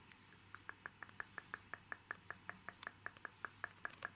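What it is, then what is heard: Plastic card case tapped with fingernails. Short fingernails and fingertips tap and scratch a small, hollow, rigid clear plastic case holding a printed illustration card, held in both hands. About twenty quiet, crisp clicking taps come in a fairly steady rhythm, each dying out almost instantly, with a light mid-high plastic tone over faint scratching.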